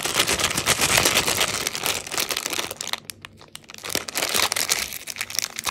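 A small yellow 45 g M&M's Peanut snack pack of thin plastic foil, full of candy, is held in both hands and crinkled with the fingertips as it is turned over, then pinched at its top edge and torn open. Dense, bright crinkling fills the first three seconds, fades to a brief quieter lull, then returns as sharp crackling and tearing through the end.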